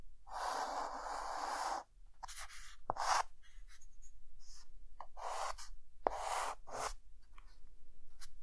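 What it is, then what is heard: Chalk drawing on a chalkboard. A hand draws the outline of the Eiffel Tower with a white chalk stick on a dark green chalkboard, making dry, scratchy chalk strokes. A long, steady stroke opens the clip, followed by shorter, broken scrapes with a couple of sharp chalk taps. The scraping is a raspy hiss centered in the mid range with a bright edge, over a quiet background.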